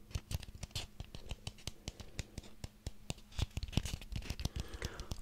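A small ribbed orange pumpkin is held in one hand while the fingernails of the other hand scratch and tap along its ribs. The result is a quick, uneven run of crisp, dry clicks and scratchy strokes, each with a soft, low, hollow thump underneath and almost no ring.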